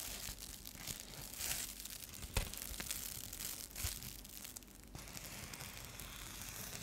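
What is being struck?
Foil bubble mailer.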